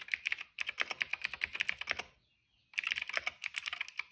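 Fingertips type rapidly on a cream plastic retro mechanical keyboard with plastic keycaps and a hollow case, making a quick run of bright, crisp clacks with no low thump. The typing pauses into near silence for under a second, then resumes in another fast burst of sharp clicks that stop almost instantly.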